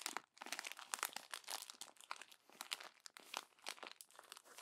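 An open glossy paper magazine has its pages bunched and crumpled in the fist and fingertips. The result is a dense run of bright, crisp crinkling and crunching bursts with no low-end body.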